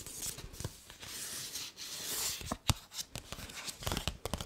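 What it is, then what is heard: Paper gift bag. Long nails scratch and tap a hollow, medium blue paper gift bag with ribbon handles, and the bag is also handled by its handles. Bright, dry papery scratching swells and fades, broken by sharp crisp taps and crinkles that stop almost at once.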